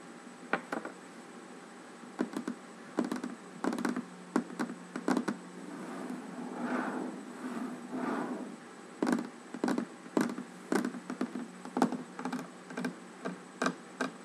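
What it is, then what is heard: Wooden table top. Fingertips and long nails tap and drum across a large, solid wooden tabletop with nothing else on it. Short, dull knocks with a quick, bright nail click come in irregular bursts. Around the middle, a softer stretch of continuous drumming swells before the separate taps return.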